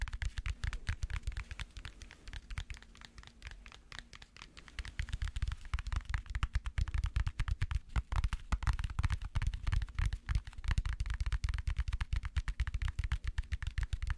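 Fingers tap rapidly on a weird book as an ASMR tapping trigger. The dense run of short, dry, low-pitched taps stays fairly soft for the first few seconds, then grows louder and busier, with each tap dying away almost instantly.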